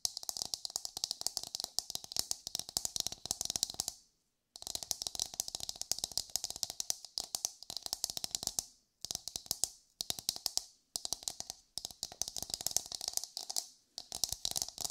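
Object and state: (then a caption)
Coconut shell half tapped and scratched with nails. Long pale almond nails tap and scratch the hard, fibrous dome of an empty brown coconut shell half held in both hands. The result is rapid, dry, bright clicking bursts with a faint hollow tone near 700 Hz, broken by a few brief silent pauses.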